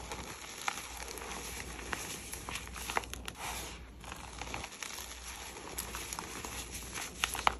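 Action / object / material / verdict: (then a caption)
scrape / crumbled gym chalk powder / chalk / none. Bare, chalk-covered fingers crumble and rub handfuls of loose, dry, pink-red crushed gym chalk crumbs held above a plate, letting the powder fall back down. A steady, bright, crumbly crinkling runs throughout, scattered with sharp crackly snaps over a faint low hum.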